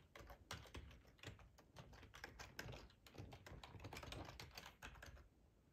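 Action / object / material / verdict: tap / plastic computer keyboard / plastic / none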